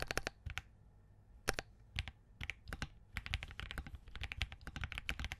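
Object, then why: Mechanical keyboard, POM case with plastic keycaps. Fingertips of both hands type on a compact Spark67 mechanical keyboard with Crane switches, a POM case and green gradient plastic keycaps. A few scattered keystrokes with pauses give way to steady, fast typing in the second half. Each press is a short, crisp clack with a bright top and a dull low thock, dying away almost instantly.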